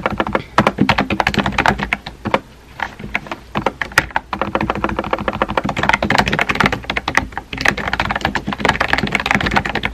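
A small pink and white plastic keyboard with round plastic keycaps and a hollow body is typed on rapidly with fingertips. The result is a steady stream of quick, dry clicky taps with a hollow plastic tone, briefly easing off around the two- to three-second mark.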